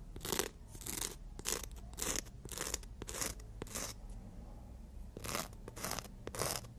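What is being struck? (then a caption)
Emery board nail file rubbed by fingernails. Natural nails are rubbed and filed against the abrasive surface of a long black-and-white emery board. Short, bright, scratchy rasps come in uneven strokes with a brief pause midway, over a faint low background hum.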